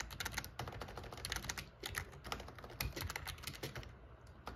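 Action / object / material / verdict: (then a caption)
tap / plastic computer keyboard / plastic / none. Short-nailed fingertips type rapidly on a full-size, hollow-bodied, backlit black plastic gaming keyboard, pressing and tapping the keys. The result is a dense, fast stream of sharp clicky clacks with bright high ticks over low hollow thumps, each keystroke dying away almost at once.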